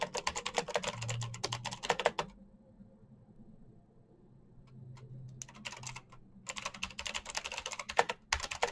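Fingertips tap the clicky switches of a black plastic mechanical keyboard in fast typing, producing rapid, bright, sharp clicks. A dense burst of keystrokes gives way to a near-silent pause with a few scattered taps, then fast typing resumes toward the end.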